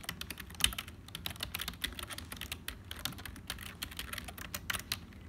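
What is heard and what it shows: Fingertips of both hands type continuously on a black HP full-size plastic keyboard with a hollow build. The result is a rapid, steady stream of short, bright clicky keystrokes with little low end, each dying away almost instantly, with a few keys struck noticeably harder than the rest.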